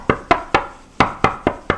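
Seven hard knocks by hand on a single-sided ceramic dining table top (Oatmeal/Myon models) give short, dull thuds with no ringing. The top does not ring because it is supported underneath.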